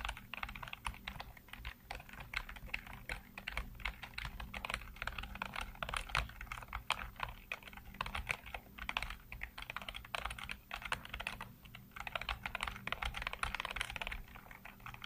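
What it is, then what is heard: Plastic computer keyboard being typed on. Fingertips rapidly tap and type on the hollow keycaps of a full-size black plastic computer keyboard. A dense, steady stream of sharp, bright clicks and clacks continues throughout, with very short decays and a faint low hum underneath.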